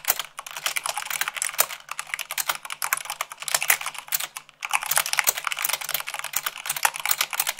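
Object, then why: Mechanical keyboard with plastic keycaps. Fingertips with long acrylic nails type fast, at about 98 words per minute, on a full-size mechanical keyboard with white plastic keycaps on a black base. The result is a dense run of sharp, bright, clicky taps with almost no low end, each dying out almost at once. A short lull comes around 4.5 seconds before the rapid typing resumes.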